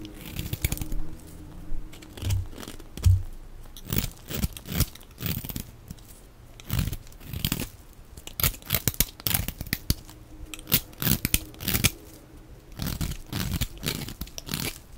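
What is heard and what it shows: A hand-sized, solid oval bar of dry white soap is held in one hand while a small black-handled knife scrapes and cuts powdery flakes from it. The sound is a dense run of short, crisp crunching and tearing scrapes with bright edges, with no ring after each cut.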